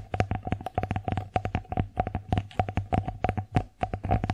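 Long fingernails tap rapidly across the face of an empty wooden bear-face plate, then along its raised rim edge. The result is a quick run of short, dry clicks with a low, hollow knock under each one and almost no ring after each tap.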